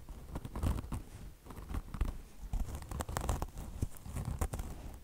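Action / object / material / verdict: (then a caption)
scrape / mesh fabric and foam car wash sponge / mesh fabric / none. Long blue nails of both hands scratch a beige mesh fabric chenille car wash sponge, a mesh top over foam. Quick, dry scratching strokes rasp and crackle in an uneven, continuous rhythm, with a deep low thump beneath the brighter scrapes. Each stroke stops short with no ring.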